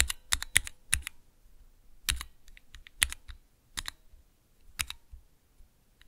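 Fingertips press the keys of a small clear plastic 3x3 Cherry MX key switch tester. The result is a quick, irregular series of sharp, bright clacks with short low thumps underneath, separated by brief pauses. Each press dies away almost instantly.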